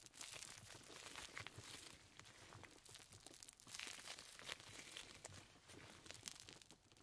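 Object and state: Leather gloves rubbed together.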